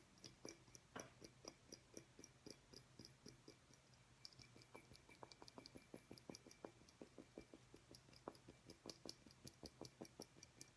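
A small, clear, hollow glass light bulb with a metal base, held in the hands over a table, is tapped with the fingernails in a quick, uneven series of light clicks. Each tap is a short, bright tick with a faint glassy ring that dies away almost at once, over a steady low hum.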